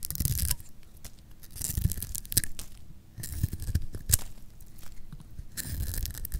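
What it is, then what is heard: Dry soap bar scraped with a blade. A metal blade shaves and scrapes the surface of a solid pink bar of dry lacquered soap held in the hand. Repeated bursts of dry, crumbly scraping carry a bright, hissy texture over soft low thuds and crackles, with quieter pauses between strokes.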